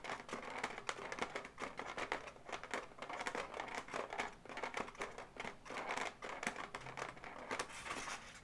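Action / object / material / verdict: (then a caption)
tap / inflated latex balloon animal / latex rubber / none. A pink latex balloon dog, inflated and hollow, has its legs tapped and scratched by long nails. Dense, quick, dry taps mix with crinkly rubbing and squeaky scratches, with brief bright clicks that die away almost at once. The rhythm stays busy and steady throughout.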